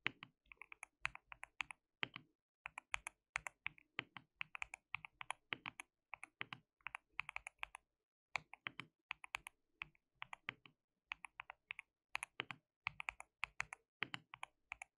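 Fingertips of both hands type on a white plastic mechanical keyboard with translucent keycaps. Quiet, bright, clicky keystrokes come in quick bursts and die away almost instantly, with a short pause partway through.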